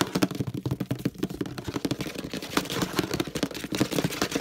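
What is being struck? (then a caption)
Plastic detergent bottle. Fingertips tap fast on the handle area and the base of a hollow orange plastic detergent bottle. The result is a rapid, uneven run of dull, hollow knocks that resonate around 290 Hz and die away almost instantly, with no high ring.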